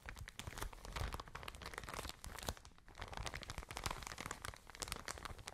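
A soft white and blue plastic packaging bag full of cotton pads is squeezed, crinkled and scratched with long nails. The result is a dense, continuous stream of crackling rustles and quick scratchy ticks, bright and crisp on top with a soft, muffled low thump underneath as the bag is pressed.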